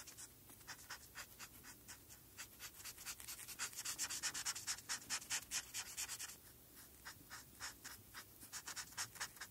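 A felt-tip marker held in the fingers is rubbed back and forth over a flat sheet of white paper with a printed pony outline, lying on a dark surface, to colour the eye area blue. The steady, bright, dry scratching strokes come quickly and fairly evenly, growing louder in the middle before easing back to softer strokes.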